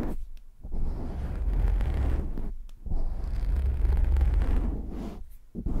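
Hands cup and fingertips scratch a black foam windscreen on a microphone, producing deep, muffled rumbling and rustling. The scratching comes in three long, heavy swells broken by brief quiet gaps, with nearly all of the sound in the low bass and almost nothing bright.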